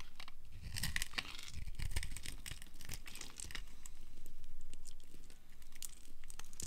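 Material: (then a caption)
Soap. A small black-handled knife scrapes and carves a solid amber dry soap bar held in the hand, sending crunchy shavings falling off. Dense, irregular scraping crunches and crackles follow one another quickly, with bright crisp edges over a low rumble.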